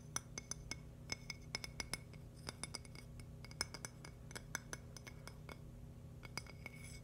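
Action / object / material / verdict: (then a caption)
tap / thin polished agate slice / agate / none. A thin, solid, polished purple agate stone slice is tapped with nails and fingertips in quick, irregular taps. Each tap gives a bright, glassy clink with a high ring that dies away almost instantly, over a quiet, steady low hum.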